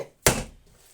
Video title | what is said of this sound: #ковбаса копчена з бочки😋😋 | а коли воно вже готове то воно так такий глухий звук видає